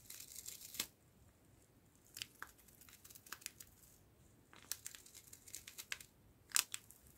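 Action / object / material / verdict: scrape / foil laminate coffee sachet / foil laminate / none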